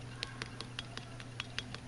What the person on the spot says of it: if you tap on it you hear how it sort of sounds like a glass